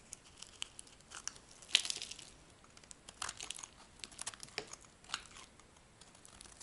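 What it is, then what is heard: Dry soap bar being scraped. A metal blade scrapes a dry, light green solid bar of soap into curls. Quiet, dry scratching and crinkling strokes come in an uneven series of short bursts, almost entirely bright and high with almost no low end. Each scrape stops instantly with no ring.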